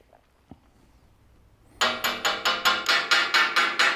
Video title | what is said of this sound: 클랑마누어 팍투어 공방의 리빌트 철학 | 약간의 소리의 차이가 들리긴 하죠 제가 중간 부분을 두드리던지 아니면 여기 가장자리를 두드리던지에 따라서요 하지만 단단한 금속을 두드리는 소리는 일관되게 나죠